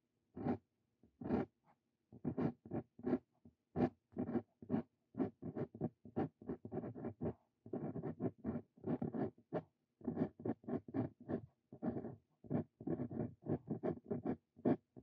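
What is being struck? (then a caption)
Steel dip pen nib on a paper sheet. A Brause Cito Fein steel dip pen nib writes Korean text on a lined paper sheet, producing continuous quiet scratching. Short, dry strokes come in rapid bursts separated by brief pauses, with a mid-low body and faint brighter edges.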